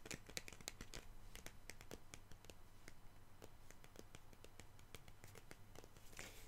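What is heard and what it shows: Long pink nails tap and scratch the glossy cardboard cover of a large "Making Faces" sticker book held upright. Many quick, crisp, bright clicks and scrapes run throughout over a steady low hum.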